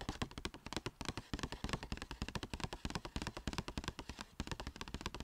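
Long nails tap and scratch quickly along the top edge and front of a small striped Sephora paper bag. Rapid, irregular crisp taps with papery scratching run throughout, each hit dying away almost instantly, with a soft hiss beneath.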